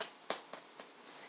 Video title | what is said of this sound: How to make Homemade Bread - Easy French Baguette from Scratch | hear that sound it's done